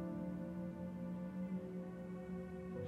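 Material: Nothing is struck.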